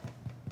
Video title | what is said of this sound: Sabbath Supper! ~ Dinner Party Tonight | So you tap it to see if it sounds hollow. Oh, it does.